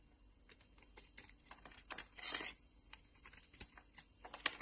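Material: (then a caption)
Soap. A palm-sized, solid pink oval Linda soap bar is held in a hand with long dark nails and scraped and carved with a metal utility-knife blade as shavings fall away. A quiet series of short, dry, bright scraping clicks is heard, with one longer rasping scrape partway through.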